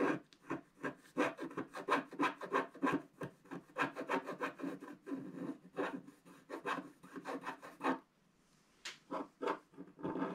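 A wooden stick scratches the black layer of a flat black wax-coated scratch art paper card to reveal a cloud at the upper right. Quick, uneven raspy strokes follow one another at about three per second, a dry rubbing scrape centered around 1 kHz with almost no low end. The strokes pause briefly near eight seconds before resuming.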